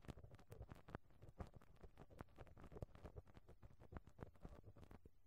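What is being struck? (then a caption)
Perforated metal microphone grille rubbed with a rubber brush. A pink rubber brush on a black handle is rubbed and scrubbed across the perforated metal grille of a cylindrical microphone head. The result is a dense run of quick, dry scratching and patting bursts, mostly low and boomy with brief bright streaks, over a steady low rumble.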